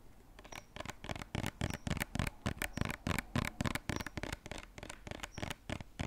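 A hollow white lotion bottle with a silver cap, likely plastic, is held upright and tapped and scratched with fingernails. Quick, irregular dry taps, about three a second, mix a soft low thump with a bright, scratchy rasp. Each stops almost instantly with no ring, at a fairly quiet level.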